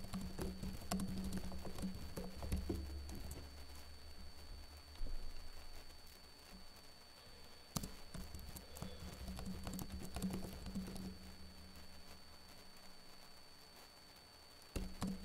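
Fingertips with short blue-painted nails tap-type on the plastic keys of a backlit laptop keyboard. The result is a quiet, irregular patter of soft clicks, with a few louder taps, over a steady low hum and a faint high tone.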